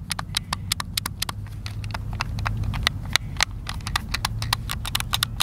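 A white, hand-sized, hollow plastic Xbox controller is held in both hands over a wooden picnic table while fingertips and thumbs press and tap its buttons. Rapid, sharp, bright plastic clicks follow one another over a steady low rumble.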